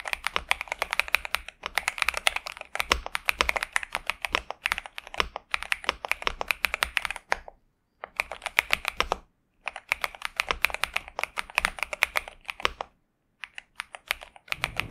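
A pink and purple 65% Xinmeng M71 mechanical keyboard with TTC Superman switches and plastic keycaps, resting on a desk mat, is typed on continuously with the fingertips of both hands. Rapid, bright, crisp clacks with very short decay center around 2.2 kHz, with little low end. Brief pauses fall near 7.5, 9.5 and 13 seconds.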